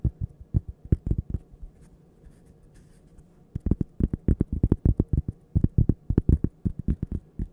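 A small, thin, solid toaster-shaped cork coaster is held up close and tapped and scratched with long painted fingernails. The result is bursts of quick, dull, low-pitched taps that die almost instantly, with a quiet lull in the middle.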